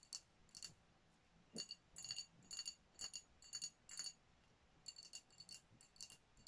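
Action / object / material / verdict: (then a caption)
tap / glass sparkling wine bottle / glass / none. Long nails tap the glass body of a dark glass sparkling wine bottle with a foil top. The result is quiet, bright, glassy clicks with a short, high ring, arriving in loose, uneven clusters.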